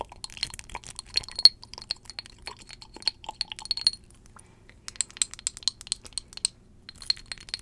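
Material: Glass.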